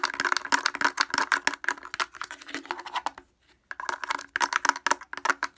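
A blue plastic portable speaker with a hollow housing and grille is tapped rapidly on its front by fingers wearing wooden clothespins. The result is a dense stream of sharp, dry clicks with a hollow midrange knock and no low end. The tapping breaks off briefly near the middle, then resumes just as fast.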